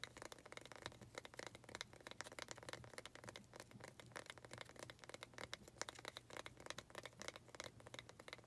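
Long acrylic nails rapidly tap and scratch the wooden sides of a small faceted wooden pot, held in both hands, that holds an artificial cactus. The result is a dense stream of quick, dry clicks and scratchy rasps with bright high edges and a woody tone around 535 Hz. A steady low hum runs underneath.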